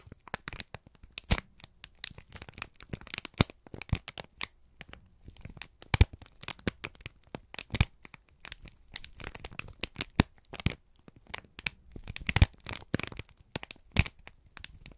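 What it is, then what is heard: Crumpled kraft paper. A wrinkled strip of brown kraft paper is squeezed and crinkled by both hands. The result is a dense, irregular stream of sharp crackles and crisp rustles that reach up into the high, bright range, with short louder snaps scattered throughout and brief quieter pauses between bursts.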